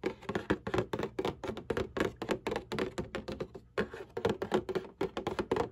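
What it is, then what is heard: Cardboard tissue box. Long painted nails tap and scratch the bottom panel of a printed cardboard Kleenex tissue box lying on its side, hollow and partly filled with tissues. A quick, uneven run of dry, hollow taps lands one after another, each dying almost instantly, with a mid-pitched papery thock and light scratching between them.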